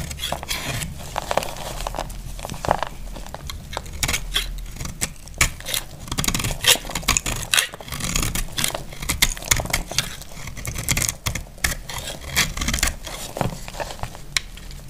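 A utility blade scrapes and shaves crunchy flakes from a solid, dry pink bar of soap held in the hand. The result is a steady run of rapid, bright, crackly scraping strokes with short sharp transients that stop almost instantly, over a faint low hum throughout.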